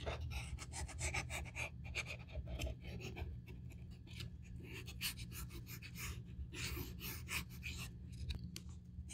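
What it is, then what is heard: Leather handbag edge being sanded. The edge of a small, black grained-leather Saint Laurent handbag, hollow and empty and held open in the hands, is rubbed with a small piece of sandpaper pinched in the fingertips during a repair. Quick, bright rasping and scratching strokes run steadily along the edge over a constant low hum.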